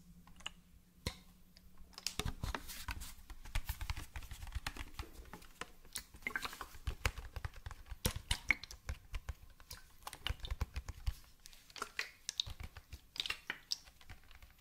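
A hand-sized hollow white plastic bottle with a red plastic cap is held close and tapped rapidly with fingertips and nails. The result is a quick, dense patter of short, dry clicks and taps with bright, crisp tops and a soft low thump under them.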